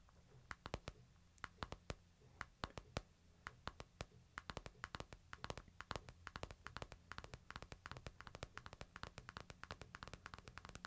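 Fingertips and nails tap the glass screen of a hand-sized smartphone in a plastic case, held low in a palm. The taps are short, dry, bright clicks that start sparse and grow into a quick, dense run of tapping. A steady low hum sits beneath them.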